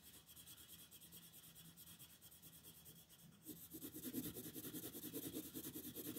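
A purple wooden colored pencil shades a flat white paper coloring sheet on a table with vigorous rubbing and scratching strokes. The rapid back-and-forth scratches, at about three per second, are soft at first. About halfway through they turn louder and more raspy, with a bright papery hiss.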